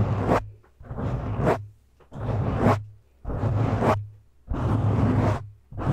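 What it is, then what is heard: Foam microphone windscreen being scratched. Fingertips and short nails scratch and grip a black foam windscreen on a microphone, both hands on top. Close, rustling scrapes swell and fade in repeated bursts about a second long, with a heavy low rumble under a bright, airy hiss and short quiet gaps between strokes.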